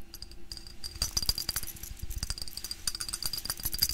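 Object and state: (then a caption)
Glass jar of dried flowers being shaken. A hand-sized clear glass mason jar filled with dried plant material and flowers is held in the hands, then tilted and shaken so the contents shift inside. The result is a dense run of dry, crackly rustling with quick, light clicks and a bright, high glassy ring over a soft low rumble.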